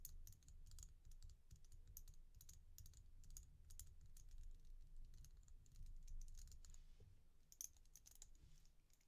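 A glossy red-and-black resin bead stretch bracelet held in the palm is tapped and scratched with fingernails. The result is rapid, crisp clicks with bright, high ticks over a low, quiet rumble.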